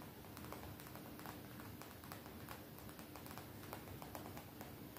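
Fingertips with long nails tap and lightly scratch a colorful graphic-print cotton t-shirt worn on the body. The fabric is soft rather than hollow, so the steady run of quick taps comes across as muffled, dull patters with faint scratchy brushing over a low, constant background.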